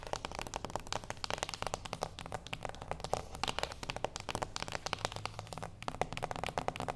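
A small, flat, closed cardboard gift box resting on a wooden table is tapped rapidly with the long acrylic nails of both hands. It gives a dense stream of dry, crisp clicks with hollow papery knocks centered in the mid range around 740 Hz, each dying away almost instantly, over a faint steady low hum.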